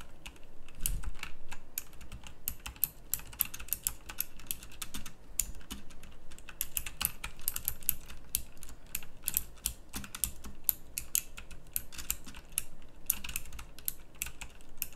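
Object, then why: Mechanical keyboard with round plastic keycaps. Both hands type with fingertips and nails on a full-size backlit pink mechanical keyboard with round plastic typewriter-style keycaps. It makes a dense, steady run of sharp, bright clicks, each one dying away almost instantly, with a soft low thump underneath.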